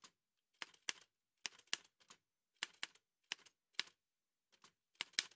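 Fingertips in white satin gloves tap the keys of an old dark-grey metal Remington manual typewriter with a hollow body and paper loaded. Bright, dry clacks come in irregular pairs and short bursts, each dying away almost at once, with no low thump beneath them.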